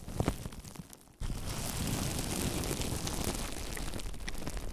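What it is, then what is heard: Plastic bubble wrap being crinkled. Fingertips scratch clear plastic bubble wrap resting on a microphone, making sharp ticks and scrapes that fade toward a brief hush. At about one second in, both hands gather and crinkle the sheet, and a loud, dense, continuous crackling with deep close-up rumble and bright rustle fills the rest of the clip.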